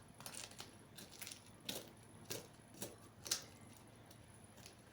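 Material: Pastry.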